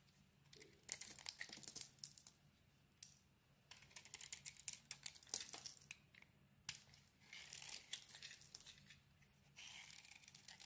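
A solid lilac bar of soap, held in the hand, is shaved with a metal blade in scraping strokes across its face. The result is quiet bursts of dry, bright, crackling scrapes separated by short pauses, over a faint low hum.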